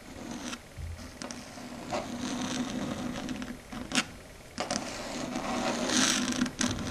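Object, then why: Chalkboard surface. Long red stiletto nails tap and scratch a flat, solid dark grey chalkboard surface. Sharp clicking taps come at an irregular pace between stretches of bright, dry scraping. A steady tone near 250 Hz runs underneath.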